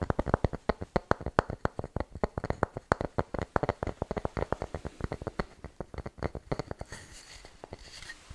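A light wooden bowl, possibly bamboo, of medium size, hollow and empty, is held in both hands and turned over while its underside is tapped and scratched with fingertips and nails. A rapid, uneven run of dry, hollow, low knocks with almost no ring fills most of the clip. It then fades into softer, brushy scratching near the end.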